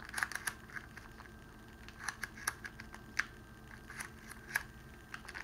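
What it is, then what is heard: Clear cellophane wrapping being crinkled. Fingertips squeeze and crinkle a small pleated bundle of clear cellophane wrapping around a rose. Quiet, sharp, dry crackles and snaps come in scattered bursts, each crisp with bright upper edges and a faint ring near 1.6 kHz. The loudest single crack lands about midway through.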